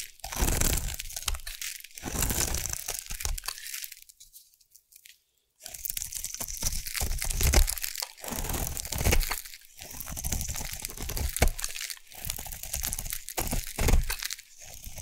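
A metal blade carves a solid blue bar of soap, producing crunchy curls with dense, gritty scraping and crackling strokes that are strong in the low end and carry a bright hiss on top. The strokes come in bursts, with a brief quiet pause near the middle before the carving resumes.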